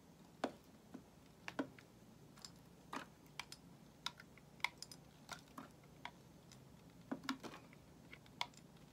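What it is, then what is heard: Bar of soap being shaved. A solid white bar of soap held in the hand is shaved with a metal utility knife blade. Quiet, short, crisp scraping clicks come at an irregular pace, each bright and dry with almost no ring, over a faint low hum.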